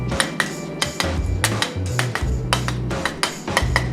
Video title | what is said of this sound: DDG: Pewter Play button build | if you tap it and you hear a little ting, you know it's cooled down enough to at least demold it